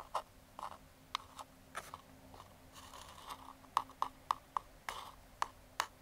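A metal claw fingertip pick scratches along the surface and edges of a small, closed, brown kraft cardboard box. Quiet, papery scrapes and short, sharp ticks are heard, with a mid-pitched tone near 1.1 kHz and a few bright flecks. They come in an irregular series, each dying away almost instantly.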